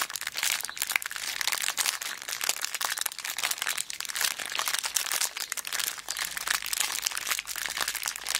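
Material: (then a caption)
Plastic. A small clear plastic zip bag full of beads is squeezed and scratched with long black nails. It makes a dense, continuous run of bright crinkling and crunching with sharp scratchy clicks and almost no low end. The texture stays busy and steady for the whole clip.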